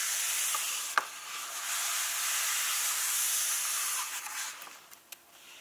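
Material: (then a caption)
Paper. Fingertips and painted medium-length nails lightly tap and rub across the matte cream paper pages of a large open softcover book lying flat on a table. A steady, bright, hissy rustle of rubbing fills most of the clip, broken by two sharp taps, one near the start and one near the end, before the rubbing thins into quieter scratches.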